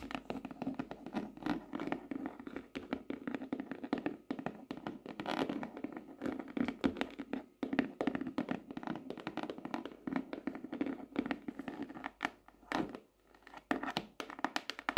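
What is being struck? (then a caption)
Laminated hardcover notebook. Long nails tap and scratch the laminated cover of a glossy tropical-leaf hardcover notebook lying flat. A dense, steady run of quick, dry clicks and taps with very short ring and a midrange body around 270 Hz, mixed with brief scratchy passes and little deep bass.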